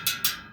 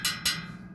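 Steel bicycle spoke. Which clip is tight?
The first.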